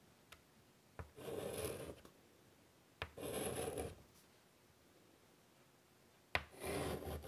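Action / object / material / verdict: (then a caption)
scrape / chalk on a wood-framed chalkboard / chalk / none. A hand draws and shades with chalk on a large, flat black chalkboard in a light wood frame lying on a table. Each sharp tick of chalk meeting the board is followed by about a second of bright, scratchy rubbing, repeated three times with quiet pauses in between.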